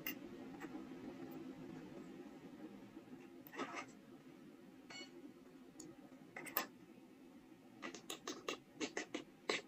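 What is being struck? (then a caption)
Small soft stone seal block. A steel carving knife scrapes and scratches carved characters into a small, solid, square block of soft stone held close in the hands. A steady, soft gritty scraping gives way to sharp, bright scratching strokes that come in short bursts, growing more frequent toward the end.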